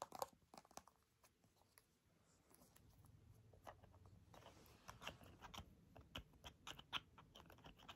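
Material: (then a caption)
Plastic. A small, hollow, mint-green soft plastic squeeze tube is tapped and scratched with long nails while its cap is handled. The result is a quiet run of sharp, bright clicking taps, with soft scraping and crinkly rustling between them. A low rumble swells in the middle before the taps pick up again.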